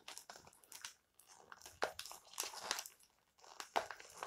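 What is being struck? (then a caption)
Stack of glossy paper magazines. Fingertips and nails rub and scratch across the glossy covers and edges of a small, solid stack of glossy paper magazines lying flat on a white table. The result is bright, crinkly rustling and scratching in short, irregular bursts with brief quiet gaps between them.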